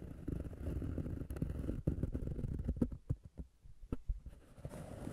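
Fingertips and nails scratch and tap on a flat, solid round cork disc resting on the recorder. A dense, muffled low scratching fills the first three seconds, then gives way to sparser, short dull taps with quiet gaps between them. The sound stays deep and soft throughout, with almost no bright content.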